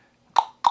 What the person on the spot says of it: Knock on that. It's well, it doesn't ring.